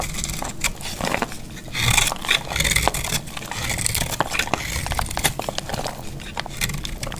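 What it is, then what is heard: Dry soap bar, brittle. A solid, dry orange soap bar held in the hand is scraped and shaved with a metal box-cutter blade, so brittle flakes fall off. Dense, crackling scrapes come as many short, bright ticks and rasps over a low rumble, swelling and fading throughout.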